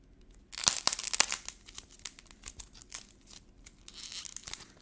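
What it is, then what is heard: Black-painted clay ball, paint shell cracking. A small solid ball of soft orange air-dry modeling clay with a brittle coat of black paint is held in the fingers, which squeeze it and peel off the cracked paint shell. After a quiet start, a dense burst of sharp, bright crackling and crinkling snaps rises, then thins into scattered, irregular dry crunches as the coating breaks away.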